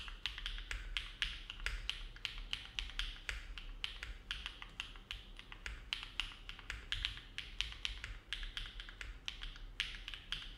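A compact silver-cased mechanical keyboard with an aluminum plate and dark plastic keycaps, resting on a desk mat, is typed on steadily with the fingertips of both hands. The rapid, bright clicky keystrokes are short and crisp, with little ring and a faint low rumble underneath.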